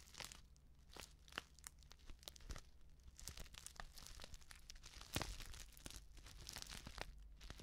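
A flat, sealed plastic instant soup sachet filled with dry contents is crinkled and scratched with long nails, making a dense run of quiet, bright crackles and sharp scratchy ticks. A louder crunch stands out near the middle, over a steady low hum.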